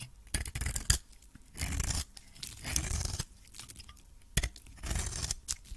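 A metal blade scrapes and cuts into the surface of a hand-held cream solid soap bar with an orange coating. Dry, bright scraping and crisp cutting strokes come in bursts, with short sharp clicks between them. The strokes are separated by quiet gaps.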